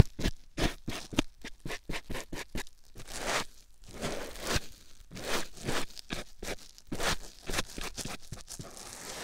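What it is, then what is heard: Foam sponge rubbed on a silicone ear. A white foam sponge block held in the fingers is rubbed and scratched against a silicone ear microphone. Quick, separate scratchy strokes come first, then slower, longer rustling scrapes with a soft, low-heavy crunch.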